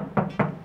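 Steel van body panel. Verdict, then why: Undamped. Two knocks on the steel body panel of a stock Toyota Town Ace van with no sound-deadening insulation. Each knock is a short, hollow thud with a low ring around 184 Hz that fades within about a tenth of a second. The untreated panel sounds tinny and crisp, clearly different from an insulated one.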